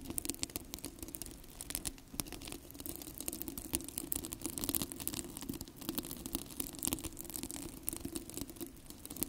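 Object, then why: Plastic hook-and-loop hair rollers. Two identical yellow, hollow, cylindrical plastic hair rollers with a hook-and-loop (velcro) surface are held close to the microphone while fingertips and nails scratch and rub across them. A dense, continuous crackling scratch with bright, crisp texture runs throughout, over a steady low hum.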